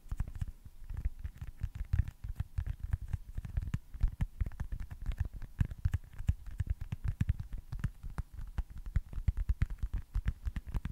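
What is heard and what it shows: A small, solid baseball-style foam stress ball with printed red stitching is held above and beside the mic and tapped and scratched with fingertips and short nails. The result is a quick, steady stream of soft, dull, low thuds with faint scratchy edges, each dying out instantly with no ring.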